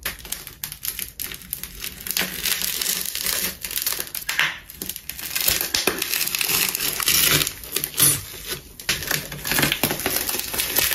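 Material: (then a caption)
Plastic tape. A large, solid ball of layered colored plastic tape wrapped in gold is sliced with a metal craft knife and pressed with fingers. It makes dense, bright crunching and crinkling with rapid crackles and little low end, swelling louder toward the middle and end of the clip.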